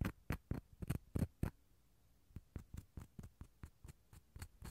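The inside of a small, hollow dried gourd shell half is scratched with a toothpick and fingernails, producing about seventeen short, dry scraping strokes. A quick run of louder scratches opens, then comes a brief pause before a softer, uneven series of strokes resumes. Each stroke is low and hollow-sounding with a scratchy top and dies away almost at once.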